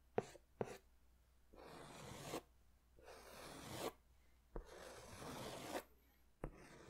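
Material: Paper.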